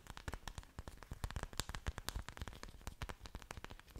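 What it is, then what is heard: Orchid leaves scratched and tapped. Waxy green orchid leaves are scratched and tapped with long dark nails right up against the microphone. A rapid, uneven stream of short, dry clicks and crackly scrapes follows, each with a soft low thump and crisp bright edges, and no ringing between them.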